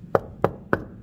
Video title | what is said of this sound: Grâce au DPE de contrôle de Best Diag Immo un studio classé F est devenu D à Paris ! | Et là, ça sonne creux. Isolation par l'extérieur.